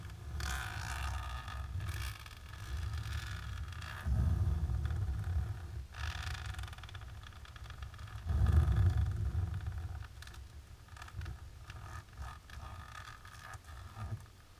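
Long natural pink nails scratch across a flat, dark embossed plastic sheet. The result is a steady, low, rumbling scraping texture with a faint brighter rasp on top, swelling louder in two stretches around 4 and 8.5 seconds before settling back into quieter, uneven scratching.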